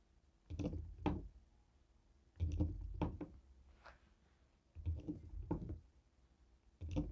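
A jade stone face roller taps a slim black plastic streaming-device remote with a sticker, resting on a wooden table. Quiet, dull, low-pitched taps and light clicks come in short clustered bursts separated by pauses. Each tap dies away almost at once.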